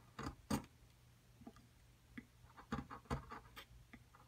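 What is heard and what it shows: A flat metal chisel scrapes and chips plaster chunks away from a solid white plaster excavation block held flat. Eleven short, dry scraping and chipping hits sound irregularly over a quiet, steady low hum, each dying away almost at once.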